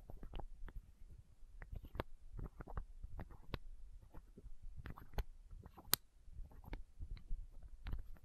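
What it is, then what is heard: Plastic eye drop bottle. Long nails scratch and tap a small, hollow, clear plastic eye drop bottle held against the microphone. Quick, dry clicks and scrapes land over a soft low rumble, with a few sharper bright ticks standing out.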